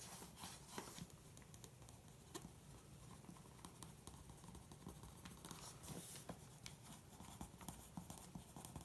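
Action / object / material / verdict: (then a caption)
scrape / graphite pencil on glossy magazine paper over carpet / paper / none. A graphite pencil tip traces over a printed bodybuilder photo and text on the thin pages of an open glossy magazine lying flat on carpet. Steady, quiet scratching strokes carry a soft low rumble, broken by brief bright scrapes as the lead drags across the paper.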